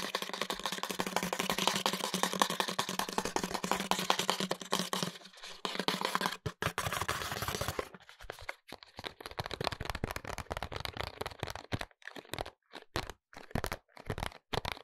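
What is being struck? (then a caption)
Small paperboard box with window holding a glass bottle. A small paperboard hair oil box with a window, with the bottle inside, is tapped on its face and sides with fingertips and short nails. For the first eight seconds there is a dense run of quick, crisp taps and light scratchy scrapes. After that come sparser, separated clicks with short silent gaps, all dry and short with almost no ring.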